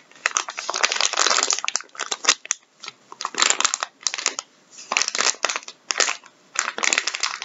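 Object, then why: Soft plastic-film tissue packet. Latex-gloved fingertips squeeze, crinkle and rub a soft, medium-sized, filled blue plastic-film packet of Andrex wipes or tissues lying on a wooden table. Bright, dry crinkling comes in bursts separated by short quiet pauses, with sharp crackles and almost no low end.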